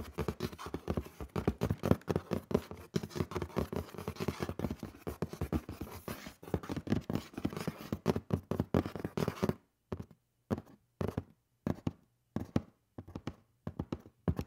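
Fingernails scratch and tap along the top edge and lid of a hollow black cardboard shoe box lying on its side. For about ten seconds there is a dense run of quick, dry scratches with a low, hollow body. Then it thins into separate, short taps with silence between them.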